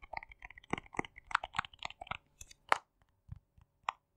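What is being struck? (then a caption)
Small plastic jar. Fingertips and nails tap and click on the lid and body of a small, hollow plastic cosmetic jar with a yellow lid and a dark body, held in the hands. About sixteen quiet, dry, hollow clicks come in an irregular rhythm, each bright and very short with almost no ring, and the last few are more spaced out.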